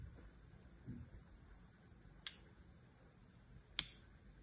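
A solid cream-colored bar of soap with an embossed logo, held in one hand, is scored and scratched in lines with the tip of a small metal knife. Two short, bright scraping clicks stand out, the second sharper and louder, over a quiet, low background hum.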